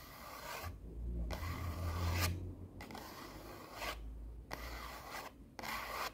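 Long nails scratch and rub the face of a small, solid orange stack of paper sticky notes held in both hands. The result is five raspy, filing-like bursts of dry scraping, separated by brief pauses, with a bright papery hiss over a low rumble.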